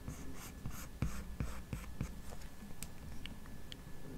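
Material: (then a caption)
Glass. The plastic tip of an Apple Pencil, held in the fingers while drawing, strokes and taps across the solid glass touchscreen of a large 12.9-inch iPad Pro lying flat. Soft, dull, low clicks come at an uneven pace, with faint scratchy swishes between them over a quiet low hum.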